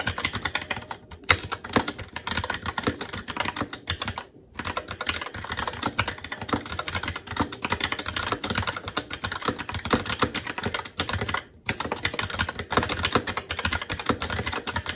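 A SteelSeries Apex 7 TKL mechanical keyboard with Red switches, black plastic keycaps on a metal plate and a hollow RGB-backlit case, resting on a desk, is typed on continuously with the fingertips of both hands. Dense, fast clacks come in quick bursts, each with a short bright click and little low thud, broken by brief pauses.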